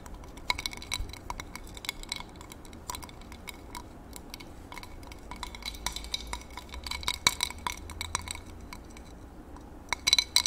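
A thin utensil taps and stirs against the inside of a medium, clear drinking glass partly filled with water, held in one hand. Many quick, bright clinks near 2.3 kHz die away almost at once, scattered irregularly over a soft, low background rumble, with a denser burst of taps at the end.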